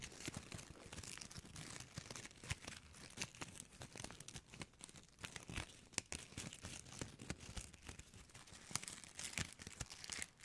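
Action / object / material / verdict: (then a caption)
scrape / metallic foil-plastic gift bow / foil plastic / none. A small, shiny gold foil-plastic ribbon gift bow is crinkled and squeezed between fingers with long nails right beside the microphone. Dense, bright crackling and crinkling fill the clip, with sharp snaps popping out over a soft, close rustle.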